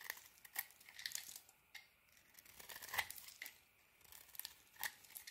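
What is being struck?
Bar of soap shaved with a blade.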